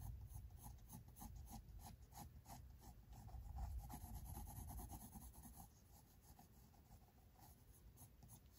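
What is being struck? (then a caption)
Graphite pencil on drawing paper sketchbook. A pink mechanical pencil's graphite tip scratches across thick white drawing paper in a large spiral-bound sketchbook lying flat on a wooden table. The short sketching strokes come in a quick, uneven rhythm of soft raspy scrapes over a low rumble, growing a little quieter near the end.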